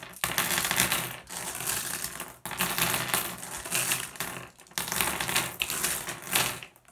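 A hand presses on, grabs and sweeps small solid blue glass gem pebbles across a wooden table, making the gems clack together. The sound is a dense, bright clicking and rattling that comes in several long bursts, each separated by brief pauses.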